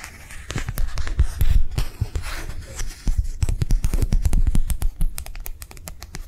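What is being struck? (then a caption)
Thin flexible plastic sheet. Long nails quickly tap and scratch a thin, flexible, translucent white matte plastic sheet held in the hands. The sound is a fast, irregular run of dry clicks and rustling scrapes over a low thumpy body, with short bright ticks that die away almost at once.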